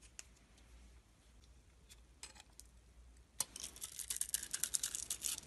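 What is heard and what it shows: A palm-sized solid bar soap with a purple glitter coating and a cream-colored inside is held in hand and carved and scraped with a metal blade. Quiet, scattered scratches in the first few seconds give way to a dense run of bright, crisp scraping and crackling cuts. Each cut is sharp and short, with almost no ring.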